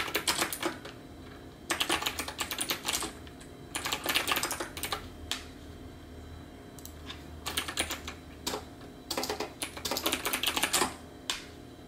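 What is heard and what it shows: A backlit plastic computer keyboard with round plastic keycaps is typed on with the fingertips of both hands. Bright, rapid key clicks come in bursts separated by short pauses, with a low steady hum underneath.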